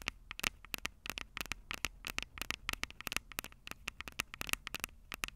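Long purple nails rapidly tap and scratch the silver metal mic capsules of a Tascam DR-05 handheld recorder. The result is a dense stream of sharp, bright clicks with a metallic edge around 2.7 kHz that die away almost instantly, set over a soft scratchy crackle.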